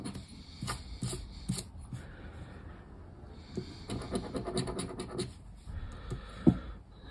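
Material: Cardboard.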